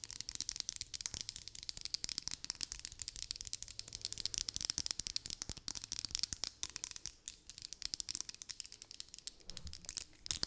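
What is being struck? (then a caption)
Plastic hairbrush. A hand-sized pink plastic vented hairbrush is tapped and scratched with long nails along its body and bristles. The result is a quiet, steady stream of fast, dry clicks and scratchy crackles, mostly above 2 kHz, with almost no ring after each hit.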